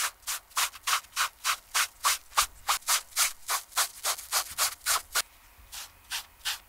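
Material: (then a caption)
Canvas. A TOMS canvas slip-on shoe, held on the hand, is cleaned by rubbing its toe and upper with a foam sponge brush on a wooden stick. About 22 quick, steady scrubbing strokes make bright, airy swishes, the last few softer and more spaced out.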